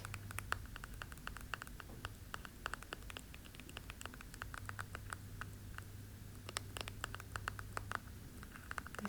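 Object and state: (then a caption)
Plastic section of a weight plate. Rapid tapping on the plastic section of a 5 kg Captain America-themed weight plate, whose outer part is rubber. Quick, dry clicks with a bright tone around 1.4 kHz die away almost instantly. They come in irregular bursts over a steady low hum.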